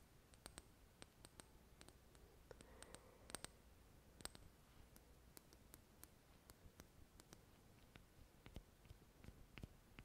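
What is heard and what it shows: Long red nails tap a small glass serum bottle with a dropper cap, full of golden liquid. A steady run of quiet, sharp clicks sounds over a soft low background, each tap a brief bright tick that dies away at once.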